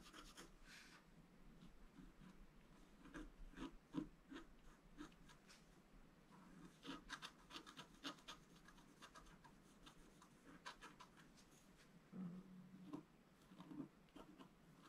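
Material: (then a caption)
Coated paper. A thin wooden stylus scratches across a flat black-coated scratch-art card held down by one hand. Quiet, dry rubbing and rasping strokes come in short bursts with brief ticking contacts, and the tone is mostly low and soft with bright scratchy edges.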